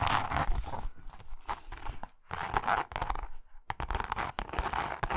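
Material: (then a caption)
Leather. Long nails scratch and tap a pink, grained leather zip wallet, first turned on its side and then laid flat. Dense, crinkly scratching mixes with quick, bright tapping clicks in bursts, with short pauses between them.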